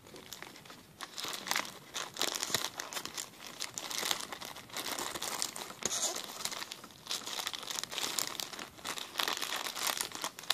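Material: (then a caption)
Plastic. A clear, empty plastic zip-lock bag is handled and crinkled with the fingers on a table. A continuous bright, crackling crinkle rises and falls in dense bursts, with almost no low end and no voice.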